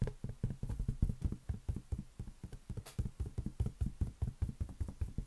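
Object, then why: Inflated latex balloon. A large, hollow, inflated green latex balloon held on an open palm is tapped quickly with the fingertips and nails. The result is a rapid, steady run of short, dull, boomy thumps that are deep and low with almost no bright edge, each dying away almost at once.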